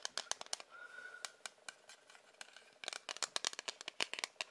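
Fingers tap a hard plastic ruler in quick, uneven bursts, about 21 sharp, bright clicks with almost no ring after each one. Near the start, a faint steady tone briefly sounds beneath the taps.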